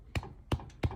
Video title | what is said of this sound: Rice with chick peas Pakistani Style (English) | just gently tap it and do you hear the sound this means there is no water